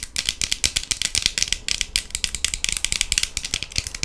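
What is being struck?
Plastic sunglasses.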